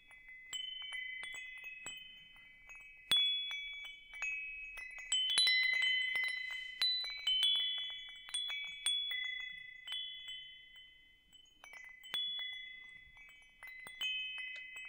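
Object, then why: Hanging metal tube wind chime. A hanging wind chime with hollow metal tubes is held up and swayed, so the tubes strike and chime. Bright, overlapping metallic tones sound in irregular clusters, each ringing out for about a second before the next strikes. Nothing low sits under the shimmering tones.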